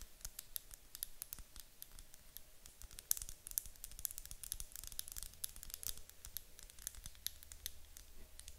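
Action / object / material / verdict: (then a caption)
tap / wax-filled glass candle jar / glass / none. Long acrylic nails tap quickly on the sides of a medium white glass candle jar with a gold lid, apparently filled with wax. The sound is a quiet, rapid stream of sharp, bright clicks that stop almost instantly, with no ringing, over a faint low hum.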